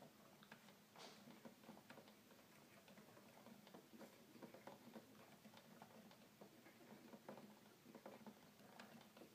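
Fingertips gently tap and press the plastic keys of a hollow red plastic toy keyboard. A quiet, steady patter of soft clicks and light taps plays over a faint low hum.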